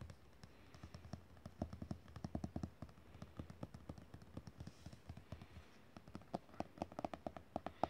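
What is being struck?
Glossy paper page of an open book.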